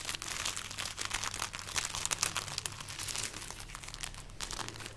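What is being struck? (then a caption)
String of dried chili peppers. A string of dried red chili peppers is held up and rubbed and scratched with painted nails and fingertips. Dense, bright, papery crinkling and brittle scratching run continuously for about five seconds, with a faint steady low hum underneath.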